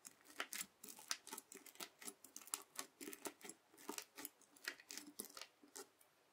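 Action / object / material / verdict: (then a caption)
scrape / slime with small plastic beads, worked with a plastic fork / slime, plastic beads / none. The tines of a white plastic fork are dragged and poked through flat red bead slime (floam), full of small plastic beads, on a white table. The result is about two dozen quiet, irregular bursts of crisp, bright crackling and scratching, with each short crunch dying away almost instantly.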